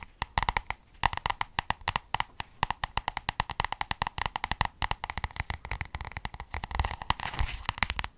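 A small white and red paperback book with a cardboard cover, held in both hands, is tapped rapidly on its solid cover with long red nails. The result is a fast, uneven stream of short, dry clicks with no ring, each carrying a light tone around 900 Hz.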